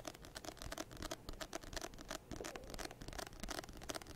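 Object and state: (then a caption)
Paperback book being scratched and tapped. A medium paperback textbook of solid paper with an orange-banded "Second Edition" cover is held close to the microphone and scratched and tapped with fingertips and nails. Quiet, dry scratching and tapping come in a rapid, uneven string of bright rasps with soft low thumps underneath. Each sound stops almost instantly with no ring.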